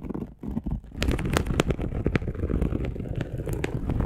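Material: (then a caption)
Polyester mesh. Long acrylic nails on both hands scratch a dark polyester mesh fabric bed sheet. Soft, sparse scratching for the first second gives way to dense, rumbling scrapes dominated by low tones, with sharp, bright crackling clicks scattered throughout.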